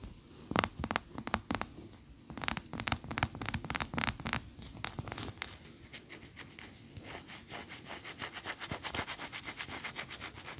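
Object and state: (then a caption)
Wax pillar candle scratched with nails. Long nails scratch a large cream solid wax pillar candle, then the candle is tilted in the hand. The clip is full of quick, dry, bright scraping strokes that are irregular and sparse at first. Toward the end they turn into a steady, rhythmic run of short scratches.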